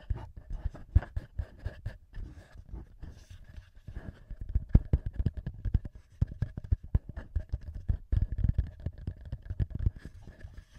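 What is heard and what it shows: Fingertips of both hands with short nails tap and rub the small metal microphone capsules and the top of the black plastic body of a TASCAM handheld recorder. Dozens of quick, dull, low thumps and soft scratchy rubs follow one another closely, with a faint steady hum underneath.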